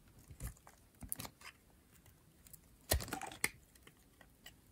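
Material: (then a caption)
Soap. A metal blade scrapes thin layers off the face and edge of a light blue, rectangular, solid dry bar of soap. Short, dry, crackly scraping strokes with a bright, crisp edge and a soft low thud are separated by quiet pauses. The loudest cluster of scrapes comes near the three-second mark.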